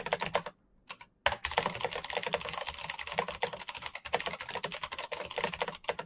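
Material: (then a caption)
Plastic. Fingertips type fast on a full-size black plastic Razer mechanical keyboard with clicky green switches and RGB backlight. A short burst of sharp, bright clicks is followed by a brief near-silent pause, then a steady, rapid stream of crisp keystrokes. Each click is dry and dies away almost instantly.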